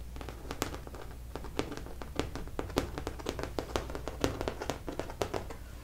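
Long nails tap and scratch across the thick acrylic paint of a large stretched canvas painting, which is hollow behind the fabric. A quick, irregular run of light, dry taps rings out, each one brief and bright, with soft scratching between them. A steady low hum runs underneath throughout.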